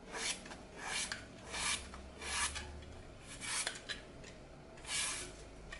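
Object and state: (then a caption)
Floral foam block being scraped. A small blade repeatedly cuts and scrapes strips from the edge of a solid, shrinking, glitter-coated floral foam block held over a glass bowl of foam strips. Bright, dry rasping strokes come in uneven bursts, with a few sharp ticks between them and little low-end weight.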